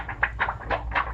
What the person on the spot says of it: lift one of the items up and shake it if you hear that noise you have film